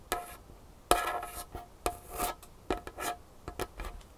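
Long painted fingernails of both hands tap and scratch on a large, solid, dark-stained wooden tabletop. About ten sharp clicking taps land in quick, uneven succession, some followed by brief scraping rubs, each with a short hollow ring around 700 Hz and bright edges.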